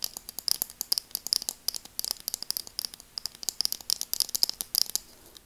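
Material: Plastic.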